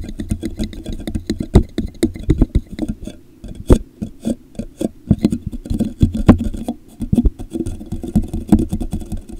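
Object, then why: Plastic drinking cup. Fingertips tap the base and sides of a hollow, empty, translucent plastic drinking cup with a popsicle print, turned upside down over a microphone. The rapid, irregular taps sound muffled and low, with a hollow tone around 240 Hz and very short decay.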